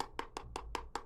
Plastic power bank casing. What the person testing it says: there's a lot of empty space in here and you can feel it when you tap